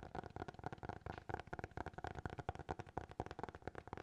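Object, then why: Hardcover notebook. Fingertips tap rapidly on the cover and edges of a small, closed black hardcover notebook held at different angles. The result is a quick, uneven run of soft, dull knocks with a hollow tone around 750 Hz. Each tap dies away almost instantly.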